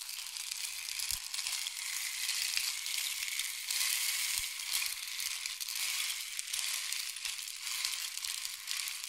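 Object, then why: Wooden rain stick with loose filling. A long, hollow, painted wooden or bamboo rain stick is tilted diagonally, its internal filling pouring through it. The result is a continuous bright, hissing patter, almost entirely high-pitched with no low end, that swells and eases in gentle waves as the filling trickles down.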